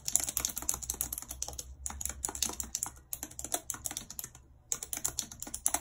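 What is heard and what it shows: Very long red acrylic nails and fingertips type quickly and continuously on the hollow plastic keys of a full-size white and silver computer keyboard with a numeric keypad, lying on a map. Bright, sharp clicks and nail taps come in dense bursts with very short decay, separated by brief pauses, over a faint low hum.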